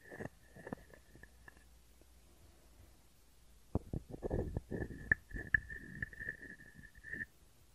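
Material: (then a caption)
Wood. A hand-sized carved wooden frog guiro with a hollow body and a ridged back, held in one hand, is scraped along its ridges and tapped with a small wooden stick. Irregular, dry clicks and raspy scrapes come in two bursts, each with a steady, hollow croaking tone around 1.7 kHz.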